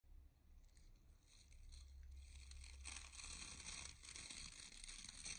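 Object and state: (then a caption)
Round bristle hair brush being scratched. Fingertips and short nails scratch and rake the dense black and light natural bristles of a solid handheld round hair brush with a wooden barrel and handle. The result is a steady, bright, crackly bristle scratching that builds and stays busy, over a faint low hum.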